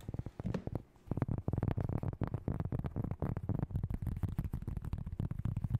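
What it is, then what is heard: Cork board being tapped. Long light-coloured nails tap and scratch quickly across the surface of a large, solid, round flat cork board or trivet held in both hands close up. The result is a fast, irregular stream of short, dull, low thuds with very little brightness, broken by a brief pause near the one-second mark.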